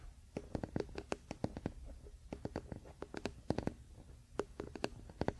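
Fingertips and short nails of both hands scratch and tap the solid wooden back and handle of a large, flat wooden paddle hairbrush lying bristles-down on a fluffy blanket. The result is a quiet, irregular series of quick, dry clicks and soft knocks with a woody low-mid body. Each tap dies away almost instantly, with a faint soft scratching in between.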